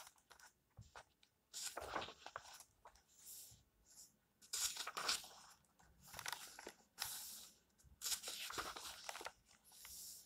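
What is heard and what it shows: Fingers flip the paper pages of the same open book one by one, each turn giving a soft, bright rustle with a papery crunch. The quiet page turns come in a steady series of short bursts, mostly high and airy, with almost no low end and no lingering ring.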